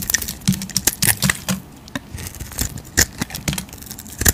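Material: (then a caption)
Soap. A utility knife blade scrapes green shavings from a solid oval bar of soap with a gold painted surface and a bright green interior, held in the hand. A quick, uneven series of crisp, bright scraping clicks rises and falls, each cut dying away almost at once, with soft low thuds underneath and a faint hiss between strokes.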